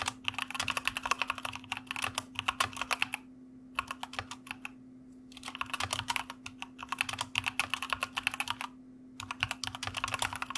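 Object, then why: Plastic mechanical computer keyboard. Fingertips of both hands type on a white plastic mechanical computer keyboard, producing rapid, bright, crisp clicks in quick bursts separated by short pauses. A faint, steady low hum runs underneath throughout.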